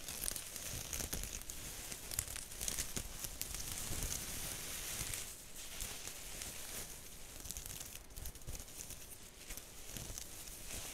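Long acrylic nails scratch and tap the woven surface of a round, hollow straw (raffia-like) purse held up close to the microphone. Dense, dry crinkling and crackling scratches run throughout, with bright, hissy texture and quick, soft taps that die away almost instantly. The level stays fairly steady, dipping slightly just after the midpoint.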